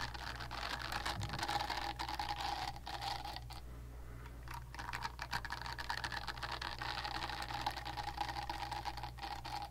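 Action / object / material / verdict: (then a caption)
scrape / silicone facial cleansing pad / silicone / none. Long nails scratch and tap the smooth silicone back of a pink silicone facial cleansing brush pad held flat, making a dense, continuous stream of soft, papery scratches and quick clicks. A steady low hum and a faint tone near 800 Hz run underneath, and the scratching briefly thins out around the four-second mark before picking back up.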